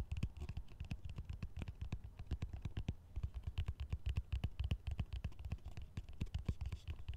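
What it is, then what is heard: Plastic colander. Fingertips tap and scratch the rim and perforated base of a large, green, hollow, empty plastic colander held upside down. The result is a quick, steady stream of short, dull, low thuds with very little ring, overlaid with faint dry scratching and small bright clicks.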